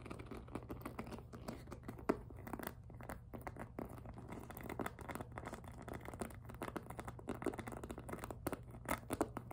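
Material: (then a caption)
PVC plastic. Long nails tap rapidly on the front of a hollow pink glossy jelly PVC handbag decorated with flower appliqués. The result is a dense stream of quick, dry plastic clicks with occasional crinkly scratches and a few sharper taps over a low steady hum.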